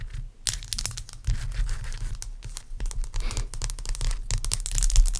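A large, clear, solid block of ice resting on a towel is scratched and tapped with very long acrylic nails. Bright, crackly scratching and quick sharp taps come in dense bursts over a low rumbling hum, each click dying away almost instantly.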